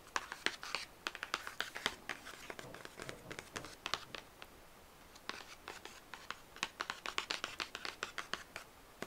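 Short painted fingernails and fingertips scratch and rub across the printed surface of a flat 12-inch cardboard LP sleeve for the album "Honeymoon," with a record inside, held in front of a record shelf, first on the back cover and then the front. The result is a rapid string of dry, bright scratches and clicks with almost no ring, broken by a brief quiet pause midway.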